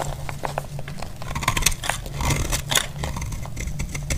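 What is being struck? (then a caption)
Bar of soap cut with a blade. A solid, dry orange bar soap held in the hand is cut and scraped with a snap-off utility blade. Crisp, bright crackling and scratchy shaving sounds come in quick bursts over a steady low hum.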